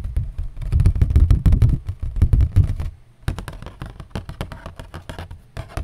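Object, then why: Cardboard. Cardboard is tapped with a mix of slow and fast strokes, producing dull, short thuds with almost all energy deep in the low range. The tapping is loud and busy for about three seconds, stops briefly, then resumes more softly and lightly to the end.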